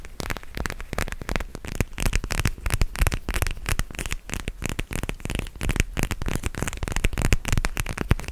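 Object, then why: Plastic gel-bead eye mask. Fingers rub and scratch a purple gel-bead plastic eye mask held close to the microphone. The result is a dense, continuous crackling and scratching with many quick, dry clicks over a heavy low rumble.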